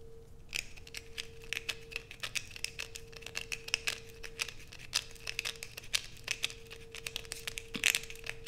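Long pointed acrylic nails scrape the grooved surface of a solid blue soap bar held in both hands, shaving off bits that fall away. It makes a rapid run of dry, bright scratching clicks over a faint steady hum, with no lingering ring.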